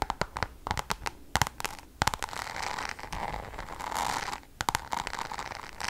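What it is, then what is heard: Coated canvas pouch tapped and scratched with nails. Long acrylic nails tap and scratch the surface of a flat Louis Vuitton Damier checkered coated canvas zip pouch with pink leather trim, held up in both hands. Quick, crisp clicking taps come in bunches, broken by a longer stretch of steady, bright scratching in the middle before the tapping returns.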